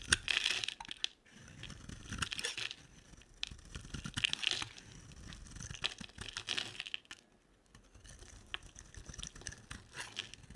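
A solid oval white bar of soap, held in the hand, is shaved with a box-cutter blade, and white curls pile up beside it. Dry, crisp scraping and crackling strokes sound mostly bright and high, with brief quiet pauses between bursts of carving.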